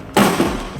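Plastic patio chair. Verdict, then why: Intact. A KIMPLAST plastic rattan-pattern patio chair is dropped from about 1 meter and lands on its leg with a single hollow thud at 0.15 s, centered low around 200 Hz, which rings briefly and fades over about a third of a second. The chair comes through intact, with no cracks, breaks or bending in its legs or structure, and is still sturdy when sat on again.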